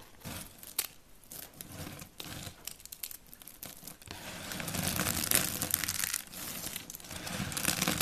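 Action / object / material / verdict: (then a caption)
scrape / soap flakes / soap / none. Fingertips with painted nails crumble, crush and rub a pile of brittle white dry soap shavings and flakes on a wooden board. Quick, irregular crisp crunches and crinkly, tearing rustles are heard, bright and dry with almost no ring. The crunching thickens into a louder, denser grind in the second half.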